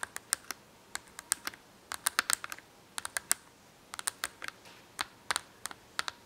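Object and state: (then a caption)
Cardboard marker box tapped with long nails. Long acrylic nails tap and scratch on an open cardboard marker box full of markers. Quick, sharp, bright clicks come in irregular bursts and clusters, each dying away almost instantly, with no low end and a quiet hiss between them.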